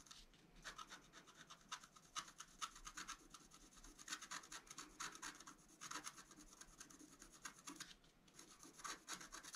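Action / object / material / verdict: scrape / black-coated scratch-art paper with wooden stylus / coated paper / none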